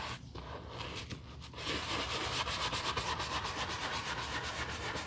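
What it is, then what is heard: Leather handbag being brushed. A black leather Chanel handbag lying on a towel, its surface covered in foam, is scrubbed with a wooden-handled horsehair brush. Soft, quieter brushing is heard at first, then it becomes a louder, steady, bright rubbing scrub with rapid back-and-forth strokes.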